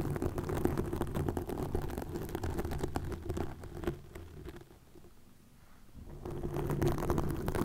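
Long nails scratch and grip green plastic mesh netting stretched over a microphone. The dense, crackly rustling is rich in low rumble, thins to a faint hush partway through, then returns to full scratching.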